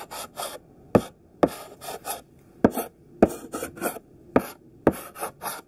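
A chunky pink sidewalk chalk stick, held in the fist, scratches across a flat black chalkboard in short strokes while drawing squares. Brief, gritty rasping strokes alternate with sharp, dry taps as the chalk lands on the board, each sound cutting off almost at once.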